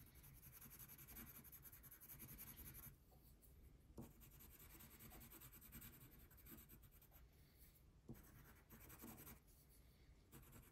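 A thin printed paper coloring page lying flat on a table is rubbed with a brown wax crayon held in the fingertips while coloring the basket. The result is a steady, soft, scratchy waxy rasp with bright, hissy strokes in the first few seconds and again later. Occasional faint taps are heard when the crayon meets the paper.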